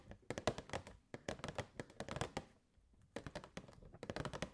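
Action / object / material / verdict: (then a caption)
tap / clear plastic box / plastic / none. Long nails tap rapidly on the sides and front of a hollow, clear plastic box with purple fairy lights inside. The taps come in quick bursts of short, dry clicks and knocks centred in the mid-range around 600 Hz, with a brief pause near the three-second mark before the tapping resumes.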